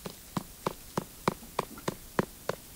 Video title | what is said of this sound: Return To Eden (Full film) | do you hear that hollow sound you shouldn't hear that when you trap soil